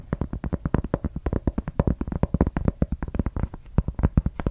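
A large, round, thin solid cork board or trivet, held in both hands close in front of the mic, is tapped and scratched with long red acrylic nails. About 35 quick, dull taps come in a rapid, uneven run, each a short low thump with a brief papery scratch and almost no ring.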